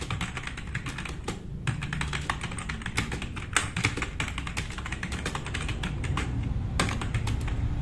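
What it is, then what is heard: Plastic mechanical keyboard. Fast typing with both hands' fingertips on a black RGB-backlit tenkeyless plastic mechanical keyboard with plastic keycaps, resting on a wooden desk. A dense, steady stream of short, bright clicky keystrokes rides over a constant low rumble.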